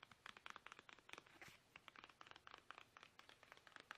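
Fingertips tap fast and aggressively, yet gently, on a plastic toothpaste tube, producing a quiet, rapid stream of short, dry, bright clicks with no ring. The crisp taps sit mostly in the upper midrange and come in irregular bursts throughout.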